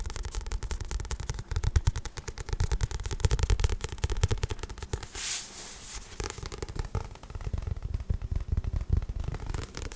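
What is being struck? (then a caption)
Paperback book with card cover. Fingertips tap and scratch the front and back glossy card covers of a paperback book, making rapid, dense, low thudding taps throughout. Around five to six seconds a brief brighter scratching sweep cuts in before the quick tapping resumes.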